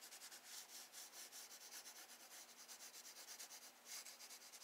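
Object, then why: Graphite pencil on paper sketchbook page. A wooden graphite pencil held in the fingers shades water strokes on a spiral-bound sketchbook of Strathmore drawing paper lying flat on a wooden desk. Repeated short back-and-forth strokes make a bright, hissy scratching and rubbing, with steady rhythmic swells and almost nothing in the low end.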